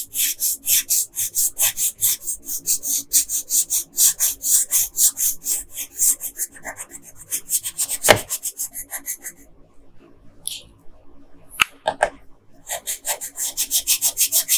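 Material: Paper.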